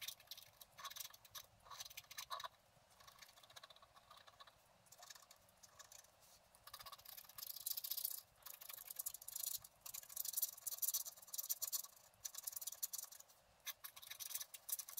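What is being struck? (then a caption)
Black-coated scratch art paper card scraped with a wooden stylus. The wooden stylus point scratches and scrapes the coating of a flat, thin, solid black-coated scratch art card around the fountain basin. Quiet, bright, dry scratching comes in uneven bursts with short pauses, growing denser and louder in the second half.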